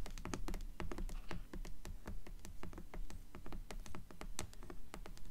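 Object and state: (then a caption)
Hardcover book tapped with fingernails. Long nails tap and scratch the cover of a black hardcover book lying on a table. Quick, uneven taps come in a steady stream, each pairing a bright click with a low, dull thud. Brief scratchy strokes fall between the taps.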